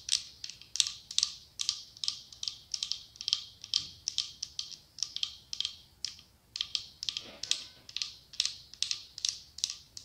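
A cylindrical glass candle jar with autumn leaf decals, filled with wax, is tapped rapidly with long acrylic nails. The result is quick runs of bright, clicky taps with a high glassy tone around 3.8 kHz, each dying away almost instantly with no low-end body.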